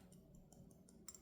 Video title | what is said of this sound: Lamy Studio 14k Gold Nib Fountain Pen Review | yep doesn't rattle against the pin even if I'm tapping it pretty hard